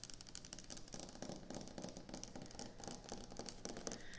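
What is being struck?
Quartz stone kitchen countertop.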